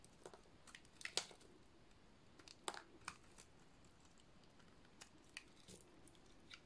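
A metal utility-knife blade shaves a dry, solid white studded soap bar, producing about 11 quiet, sharp, crunchy scrapes at irregular intervals. Each cut is a brief, bright crackle with almost no ring, heard over a soft background hiss.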